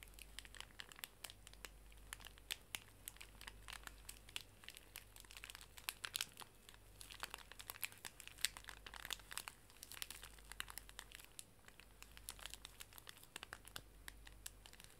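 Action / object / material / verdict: scrape / plastic-film pocket tissue pack / plastic film / none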